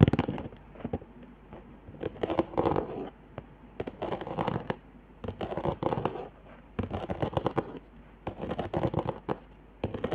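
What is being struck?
Cardboard sheet with dried hot-glue lines, scratched and tapped by fingernails.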